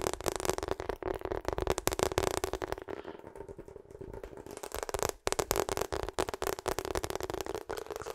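Long acrylic nails rapidly tap and scratch a hollow pink/purple ribbed rubber hot water bottle while it is turned in the hands. Dense, crisp clicks ring around a steady hollow tone near 370 Hz, softening into a quieter scratching stretch midway. After a brief pause, the fast tapping resumes.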